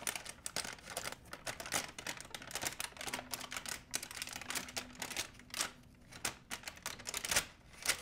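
A large, empty white plastic shopping bag is held up and crumpled in one hand, giving a steady run of bright, crackling crinkles. Sharp snaps stand out over quieter rustling, with short pauses in between. A faint low tone sits underneath through the middle of the clip.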